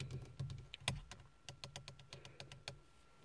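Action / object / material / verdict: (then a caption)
tap / textured plastic steering wheel airbag cover / plastic / none. Long nails tap and scratch in quick, typing-like patterns on the large, hollow-backed, hard textured plastic airbag cover in the centre of a Ford steering wheel. About sixteen sharp, dry clicks with short scratchy edges sound over a low steady hum, with one louder tap standing out early on.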